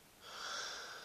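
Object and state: Nothing is struck.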